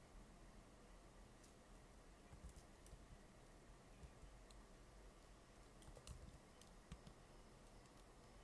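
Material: Plastic.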